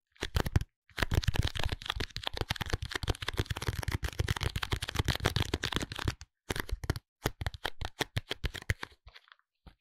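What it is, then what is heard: Cardboard soap box. A small pink cardboard soap box, held lying flat in both hands, is tapped and scratched on its top face with fingertips and nails. Dense, dry tapping and scratching clicks with a papery crackle run almost continuously, then thin out into sparser, separated taps near the end.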